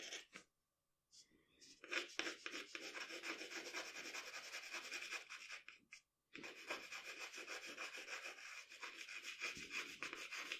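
A pencil rubs in quick shading strokes on a sheet of drawing paper resting on a table, shading around the eyes of a portrait. A bright, dry scratching repeats in a fast, uneven rhythm, with brief pauses near the start and just after the middle.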